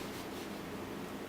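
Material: Nothing is struck.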